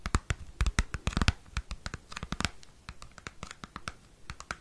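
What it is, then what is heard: Cardboard CD sleeve. Fingernails scratch and tap a small square cardboard CD album sleeve close to the microphone. The result is a rapid run of dry, sharp clicks and scratches with a thumpy low end and bright edges, each dying away almost instantly. The taps are loudest near the start and grow softer toward the end.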